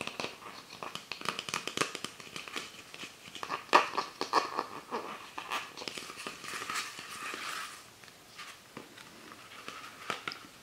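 Fingertips and nails tap and scratch along an empty, hollow clear PET Pepsi Sakura soda bottle with a white plastic cap and printed label, lying on its side on a book. Quick, irregular crinkly taps and scratchy rasps sound bright and dry, dying away almost at once. The loudest tap lands near the four-second mark.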